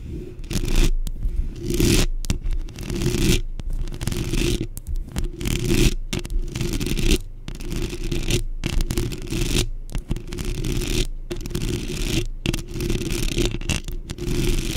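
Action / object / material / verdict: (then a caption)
scrape / metal mesh microphone grille / metal mesh / none. Long pink acrylic nails rapidly scratch and tap on a black, rounded metal mesh microphone grille. The result is dense, gritty scraping bursts with a heavy low rumble underneath and a bright hiss on top, broken by brief silent gaps as the nails lift and restart.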